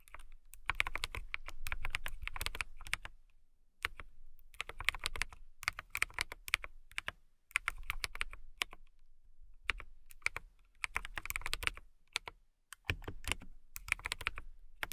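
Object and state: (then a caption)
Clear acrylic mechanical keyboard typing. Fingertips with long nails type on a clear acrylic mechanical keyboard with transparent keycaps. The bursts of crisp, bright clicks come in runs with short pauses, and each keystroke stops dead with a low thump underneath.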